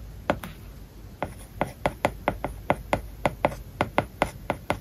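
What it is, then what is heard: Stylus writing on a tablet screen with matte paper-like film. A plastic stylus tip writes small Japanese characters on an iPad's glass screen covered with a matte plastic paper-like film. It makes a rapid series of about seventeen short, dry taps and scratches, each a crisp, midrange click with almost no ring, over a faint steady hiss.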